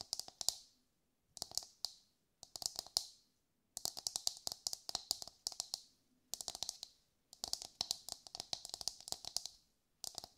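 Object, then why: Whole husked coconut. Long light-grey nails tap a brown, husked whole coconut with a hard fibrous shell, held in both hands. Quiet bursts of rapid, dry, bright clicking taps come in flurries separated by brief silences, each tap dying away at once with no ring or low body.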